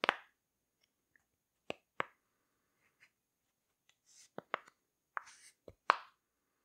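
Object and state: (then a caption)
Silicone pop-it fidget toy being popped. A rainbow heart-shaped silicone pop-it fidget toy is held in both hands while its bubbles are pushed from behind with the fingers. Short, dry plopping pops sound one at a time with gaps of quiet between them. Some pops are sharp and bright, while others are softer with a faint hiss.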